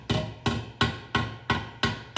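A steel headlight bucket from a 1927 Reo, repositioned to sit flush on an anvil, is struck with a hammer seven times. Each blow is a short, solid knock with a low body and a quick fade instead of a tinny ring. The duller sound shows the metal is seated flush on the anvil, so the hammer is hitting down flush.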